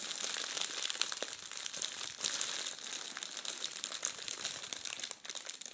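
Red metallic foil tissue paper is bunched and crumpled by both hands. A dense, continuous crinkling crackle fills the clip with sharp, bright snaps and almost no low end.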